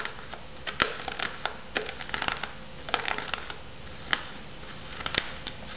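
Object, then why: Shrink-wrapped foam noodle cup. A shrink-wrapped foam noodle cup sits on a wooden board while long nails tap and scratch its lid and sides. Quiet, crinkly scratching is broken by many sharp, bright clicky taps with a slight papery crunch. The taps are irregular and die away almost at once.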